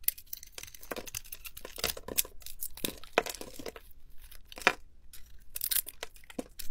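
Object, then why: Bar of soap. A metal blade with a white handle shaves and scrapes the glittery magenta coating off a hand-sized, solid green bar of soap held in the palm. Crisp, dry cutting and scraping strokes come in quick, irregular bursts, with bright crackly edges and an occasional sharper scrape.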